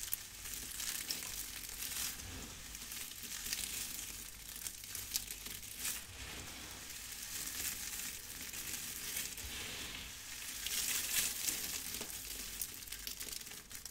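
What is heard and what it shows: Hands with long red nails scoop up a pile of brittle, dry crushed soap shavings, crush them and let the flakes crumble back down. The result is a steady, bright crackling and crunching with soft rustling, mostly high in tone with little low end, and it stays at an even, quiet level throughout.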